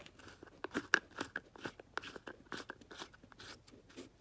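A white plastic tub of aquarium salt with its lid on, filled with coarse salt crystals, is held in a hand with long dark nails on the sides and shaken and tilted. The crystals rattle in a quick series of short, dry, crunchy bursts with bright grainy texture and no ringing. The sound is quiet and close.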